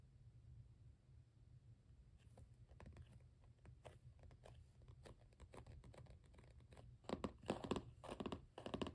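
Fingertips and short nails on both hands drum on the closed blue cardboard cover of a Canson XL mix media spiral-bound sketchbook lying flat, making quick, uneven, typing-like taps. After a low steady hum alone at the start, soft dull clicks begin around two seconds in and grow louder and denser near the end.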